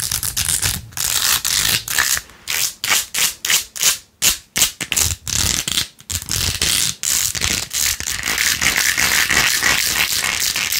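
Long acrylic nails rapidly scratch and rub pink plastic pearl beads glued to the back of a handheld plastic phone case with rose-gold edges, with a phone inside. The result is a bright, dry scratching hiss in quick strokes, clearly separated bursts in the middle that run into nearly continuous rubbing at the start and end.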